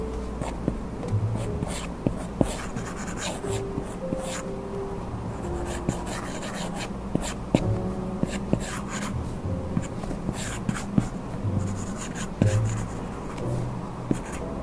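The hard plastic tip of an Apple Pencil, held in one hand while the other rests at the edge, scratches and rubs in drawing strokes across a 12.9-inch iPad Pro lying flat, its glass screen covered by a matte Paperlike plastic screen protector. A steady, low, dull rubbing texture runs throughout, broken by short, sharp ticks as the tip lands and lifts, with faint music underneath.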